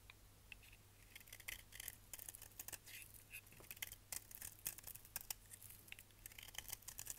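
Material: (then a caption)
Soap. A solid, dry orange-and-yellow striped bar of soap held in the hand is shaved with a utility knife blade into yellow curls. The result is soft, bright, crisp scraping and crackling, with rapid clicks and snaps over a faint, steady low hum.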